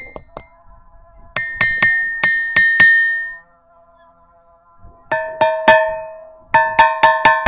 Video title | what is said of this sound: Sri Indreshwara Swamy Temple - Indresham village - Manavoorigullu | చూడండి గంట సౌండ్ ఎలా వినబడుతుందో